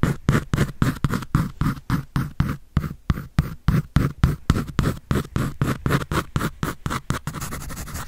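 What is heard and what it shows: A pencil scratches and draws across a white paper sketch pad held by hand, making about 39 quick, separate dry strokes at a brisk but uneven pace. The strokes have a gritty texture with a strong low-end weight. In the last second they blend into a steadier, continuous scratch.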